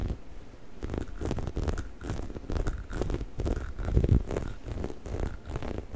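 A hollow yellow-orange rubber squeaky chicken toy is held in both hands close to the microphone while fingertips and nails scratch and squeeze its textured rubber surface. The result is a steady run of soft, low, rubbery scratching and rustling with brief muffled thumps, mostly bassy with little high content.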